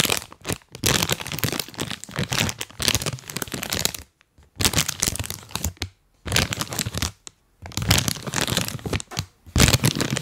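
A full, printed plastic cookie bag is held close and tapped and rubbed with rubber toy hands. It gives bursts of bright, crisp crinkling with dull low thumps underneath. Short silent pauses break up the bursts.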